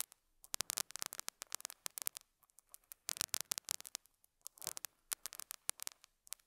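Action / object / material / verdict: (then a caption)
scrape / felt pad on a small microphone, scratched with a metal hook / felt / none. A metal dental scaler hook scratches and picks at a small square beige felt pad on a lapel mic. The result is clusters of sharp, dry, crackling scrapes, bright and thin with no low end, each dying instantly, separated by brief near-silent pauses.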